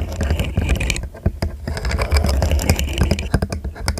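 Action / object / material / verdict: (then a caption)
tap / segmented plastic fidget toy / plastic / none. A hollow, segmented rainbow plastic fidget slug toy is arched over the microphone while fingertips and nails click and flex its segments. Rapid, irregular clicks and soft scraping sound over a steady low hum, with bright ticks mixed in.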